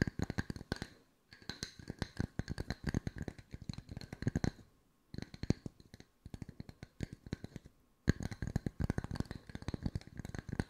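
Fingertips tap on wooden circles at mixed speeds, producing rapid, dry, short knocks with a soft low thump and a faint bright click on top. The taps come in dense flurries separated by brief pauses, each one dying out instantly with almost no ring.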